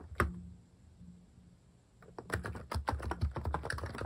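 Fingertips type on a compact Hanmumu electrostatic capacitive keyboard fitted with plastic cat keycaps. A single soft keystroke is followed by a quiet pause, then a quick, uneven run of muted, low, thocky clacks with brief, dry decays.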